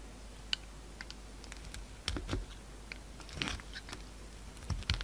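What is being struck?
Bar of soap.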